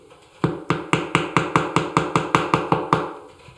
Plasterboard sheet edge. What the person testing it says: ça sonne creux dès l'instant que ça sonne creux c'est que la plaque en fait l'angle a été cassée